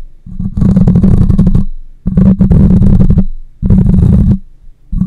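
Long nails scratch the side and top of the cylindrical metal mesh grille on a black condenser microphone. Three long bursts of dense, close scraping come through as a deep, rumbling roar heavy in the low end, with a steady low hum under the friction and brief quiet gaps between strokes. A fourth stroke starts just as the clip ends.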